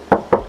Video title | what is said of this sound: SPILL SIGRA LIKE NEW & LOW KM! SIGRA R MATIC 2024 HARGA MURAH 140 JUTAAN NEGO!! MOBIL BEKAS SEMARANG | aku bakal tes ketuk dulu. Tuh, masih lihat banget kalengnya.